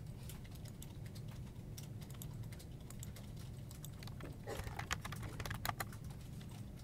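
Fingertips tap and press the hollow keycaps of a full-size black plastic desktop keyboard in a steady stream of quick, short clicks. The clicks grow louder and brighter in a burst near the end, all over a constant low hum.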